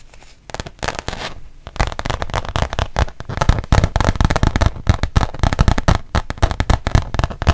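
A thin, solid, printed rubber-backed fabric mouse pad is held up and tapped and scratched on its front with long painted nails. After a quiet start, a rapid, irregular run of short, dry taps and scratchy brushes follows, each with a soft low thud and almost no ring. The taps grow denser and louder toward the end.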